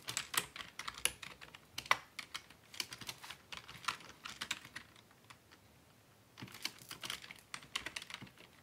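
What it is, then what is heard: Plastic computer keyboard. Fingertips type continuously on a black plastic Dell desktop keyboard resting on a wooden desk, producing rapid, bright plastic key clicks in uneven bursts. A brief pause in the middle gives way to another quick flurry of clicks.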